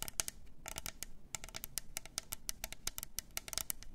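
Long nails tap quickly around the sides of a hollow, double-walled clear plastic tumbler with pink glitter, a lid and a straw. The result is a rapid run of about two dozen short, dry clicks, each one bright and crisp and dying away almost instantly.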